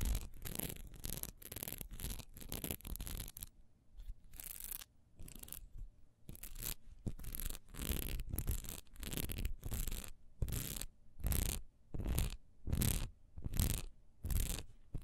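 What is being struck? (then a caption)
Textured wax pillar candle. Long nails scratch along the raised dotted texture of a solid wax pillar candle held sideways in one hand. Fast, dense scratching in the first few seconds gives way to separate rasping strokes at a steady pace. Each stroke is a dry, bright burst that cuts off quickly.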